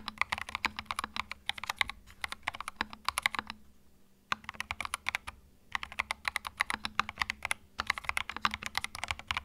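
Fingertips type on a small white 65% Epomaker TH66 mechanical keyboard with plastic retro keycaps, a hollow plastic case and plastic switches, resting on a felt mat. Rapid, bright, clacky keystrokes come in bursts centered around 2 kHz, with brief pauses between runs of typing.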